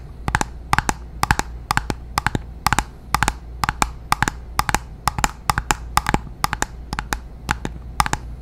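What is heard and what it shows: A small glass foundation bottle with a silver cap, filled with beige liquid and held in the hand, is tapped and scratched with long nails. Quick clusters of two or three sharp, clicky taps repeat steadily, dozens in all. Each tap has a bright glassy tone around 830 Hz and dies almost instantly over a low, soft background.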